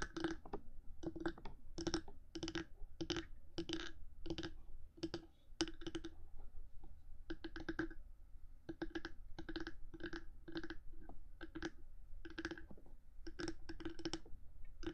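Long fingernails on both hands tap and scratch the top of a black 3Dio binaural microphone's hard housing between its silicone ears. The result is a rapid run of short, sharp clicks with a faint pitched ring near 330 Hz and bright scratchy edges, broken by brief pauses, over a low rumbling background.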